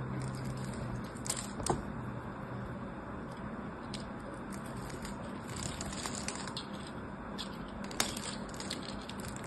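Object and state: Bar soap cubes being scraped.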